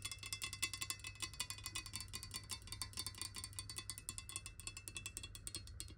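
Long nails tap quickly and unevenly on a clear, hollow glass water bottle holding water and lying on its side. The clip is a dense stream of short, bright, glassy clicks with a high ring that dies away almost at once. A steady low hum runs underneath throughout.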